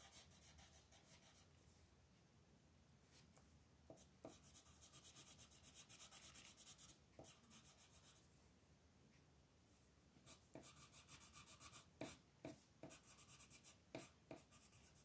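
A green colored pencil rubs back and forth on a flat paper coloring book page, shading with scratchy strokes while the other hand, with red nails, holds the page. The quiet, bright, papery scratching comes in bursts of strokes, with a few sharper, crisper strokes standing out toward the end.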